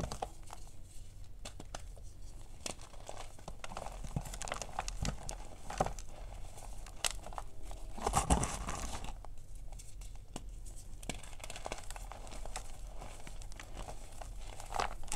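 Fingertips with red-painted nails squeeze, crush and rub soft chunks from a large pile of white and pink crumbly gym chalk (magnesium carbonate) in a dark bowl, breaking them into powder. Dry, crunchy crumbling and crinkling crackles run through the clip over a steady low hum, with sharp brief snaps and a denser, louder burst of crushing around the middle.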